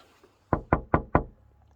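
Four evenly spaced knocks on the glass cab window of an LS tractor, done to show the window is glass rather than plastic. Each knock is a short, clear, low-pitched thud that dies away quickly, with quiet in between. The window, though dirty, sounds like solid glass.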